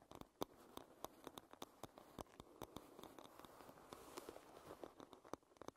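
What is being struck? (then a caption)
Wooden hairbrush. Fingernails tap and scratch on the back and edge of a wooden hairbrush. Quick, dry clicks and taps with almost no ring sit over a steady, soft scratching hiss, with the energy centered in the midrange around 1 kHz.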